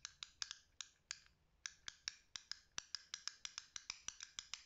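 Fingertips flick the green joystick and switch and tap the buttons of a small black and green plastic fidget cube held in the hand, giving about two dozen sharp, bright plastic clicks in an irregular rhythm with a brief pause early on. Each click is dry and dies away almost instantly, with almost no low end.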